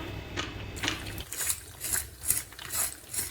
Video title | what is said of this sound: Bạn có nhớ những bữa ăn gia đình mà Mẹ nấu? Cơm nhà với những món ăn tuy giản dị mà ngon | The sound shows how crispy the fish is